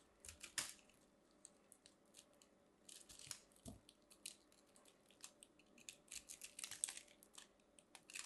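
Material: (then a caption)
Soap. A metal craft knife carves and scrapes a small purple ball of compressed soap shavings, solid and crumbly, held in the fingers, cutting off crunchy flakes. Quiet, bright, crisp scraping and crunching bursts come in irregular clusters with brief pauses between them.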